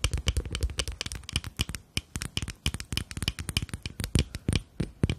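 A small rectangular glass foundation bottle with a black cap, partly full of beige liquid, is tapped rapidly along its sides with long nails. The result is a fast, uneven stream of short, dry clicks with a bright edge and a soft low thump underneath, each tap dying away almost instantly.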